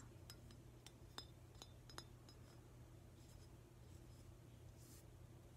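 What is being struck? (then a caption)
Glazed ceramic octopus figurine. A hand-sized, glossy green glazed ceramic octopus figurine is tapped with fingernails. Quiet, sharp, bright clicks with a short, high clink ring sound over a steady low hum, with a few softer scrapes and taps toward the end.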